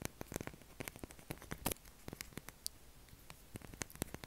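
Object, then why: Solid soap bar. Short fingernails scratch and tap the face and edge of a solid light-blue bar of soap held in both hands, while shavings pile up on the table. Quick, irregular clicks and dry scraping patters come in close succession over a quiet background, with sharp, bright transients that stop almost at once.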